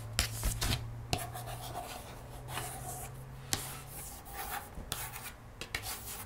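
Long nails trace and scratch along the printed page of a cardboard board book lying open on a table, its thick glossy paperboard pages giving a dry, bright rasping sound. Soft, irregular scratching strokes are broken by a few sharp clicks where the nails catch the page, over a steady low hum.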